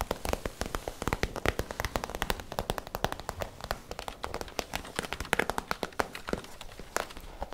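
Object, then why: PVC plastic zip pouch. Long nails tap and scratch a holographic PVC zip pouch with a store tag attached, held near the mouth by the end. A rapid, steady stream of sharp, crinkly plastic clicks and scratches rings out, each dry and short with a bright crackle and no lingering ring.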